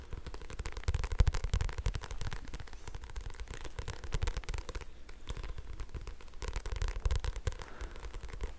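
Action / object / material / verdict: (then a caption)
scrape / thick paperback book with glossy paper cover / paper / none. Fingertips and nails tap and scratch the glossy paper cover and spine of a thick "hibu" paperback phone directory held close to the microphone. The result is a dense, uneven run of soft, dull taps with a heavy low thump and crackly scratching over it, with no ring after each touch.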